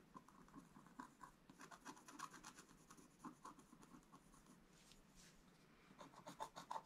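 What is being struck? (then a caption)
Wax-coated scratch-art card scraped with a wooden stylus. A wooden stylus held in the fingers scratches lines into a flat, black-coated scratch-art page with gold showing through, lying in an open book on a table. Quiet, dry, rapid scratching strokes come in short bursts, each with a bright, hissy rasp. A few louder strokes stand out near the end.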